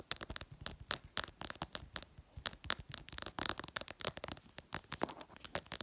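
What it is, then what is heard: Glass smartphone screen tapped with fingernails. Long purple nails tap fast across the flat glass screen of a smartphone. A rapid, uneven stream of sharp, bright clicks follows, each dying away almost at once with little low end, at a quiet level.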